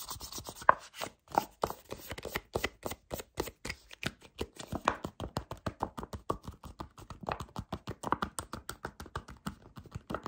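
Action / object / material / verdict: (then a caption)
scrape / soft plastic squeeze tube / plastic / none. Fingertips and short dark-painted nails grip, squeeze and scratch a small white-and-yellow Kamill hand cream squeeze tube with a white cap, made of soft, hollow plastic and apparently partly full. Rapid, crisp scratching and tapping crackles come in a fast, uneven stream of short, dry hits, centered around 1 kHz with little low end.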